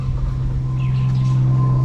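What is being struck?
Nothing is struck.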